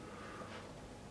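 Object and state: Nothing is struck.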